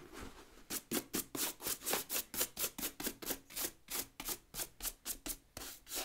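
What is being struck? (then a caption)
Leather work boot with rubber tread sole, scrubbed with a bristle brush. A wooden bristle brush scrubs the rubber tread sole of a brown leather work boot turned upside down. About eighteen quick back-and-forth strokes in an uneven rhythm produce bright, hissy scratching bursts with little low end.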